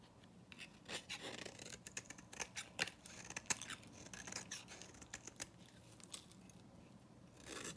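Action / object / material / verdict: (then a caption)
scrape / bar soap scraped with a metal knife blade / soap / none. A solid, dry orange bar of soap held in the hand has its surface scraped with a metal knife blade. The result is a quiet run of bright, crisp scraping and crackling with many short, sharp clicks that die away almost instantly.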